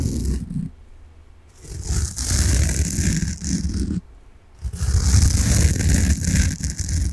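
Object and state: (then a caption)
Foam sponge being scratched. A large, solid, peach-coloured soft foam sponge is held in both hands and scratched and rubbed with fingernails. Dense, rasping scratches carry a deep, muffled rumble and a bright, hissy texture, broken by two brief quiet pauses before the scratching resumes.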